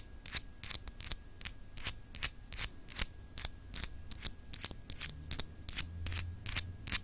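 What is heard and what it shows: Long acrylic nails scratch across a small, solid clear glass globe paperweight with frosted, etched continents, held in the hands. Short, bright, raspy scratching strokes repeat at a loosely irregular pace, each dying away almost instantly. A faint low hum sits underneath.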